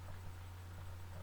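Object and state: Nothing is struck.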